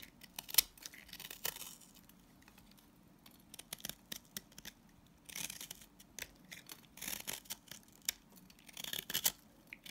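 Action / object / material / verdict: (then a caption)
scrape / salt scrub soap bar / salt soap / none. A utility knife blade scrapes and cuts thin shavings from the face of a green solid salt scrub soap bar held in hand. Crisp, bright, gritty scratches come in short quiet bursts and clusters, each fading almost at once, with little low end.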